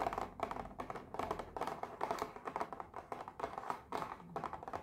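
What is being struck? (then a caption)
Small cardboard box with packaged sweets inside. A small printed pink cardboard box of heart-shaped mochi, hollow with the packaged mochi inside, is held in one hand and rubbed and tapped with long painted nails and fingertips. Quick, light, dry clicking taps come in rapid bursts, mixed with soft scratchy rubbing. The hollow box gives the taps a papery midrange tone that dies away almost at once.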